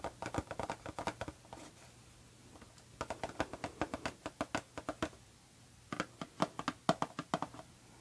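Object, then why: Paperboard perfume box. Long red nails tap and scratch a pink Harajuku Lovers paperboard perfume box, which is also tilted and picked up. Quick, dry, hollow taps come in three bursts separated by quieter pauses, each tap dying away almost instantly. Faint scratching and handling rustle fill the gaps.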